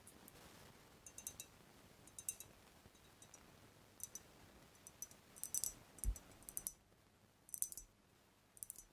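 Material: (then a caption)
Glass. Long acrylic nails tap the body and neck of a large dark glass cognac bottle with a paper label and a black capsule on the neck. Quiet, sharp, bright clicks come in irregular clusters, each dying away almost instantly, over a faint low background rumble.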